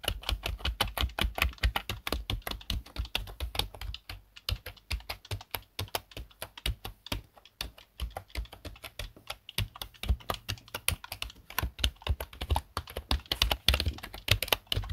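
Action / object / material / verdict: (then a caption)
tap / plastic computer keyboard / plastic / none. Both hands type with their fingertips on a black plastic desktop keyboard. A fast, steady stream of short, clicky keystrokes is heard, each a dull low thump with a bright plastic tick, easing briefly around 4 seconds and again near 9.5 seconds before picking back up.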